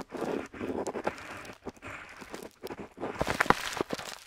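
A metal dip pen nib scratches across a flat paper map sheet, seen close up, while inking letters. Soft, dry scratching strokes come in short bursts with brief pauses, ending in a few sharper, brighter ticks as the nib catches the paper.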